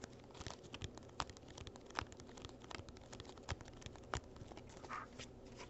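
Fingertips and nails tap and scratch the sides of a small, hollow printed cardboard gift box holding cork coasters, held in both hands. Quiet, irregular dry taps and crisp scratchy crinkling run throughout, with a few sharper, louder knocks standing out.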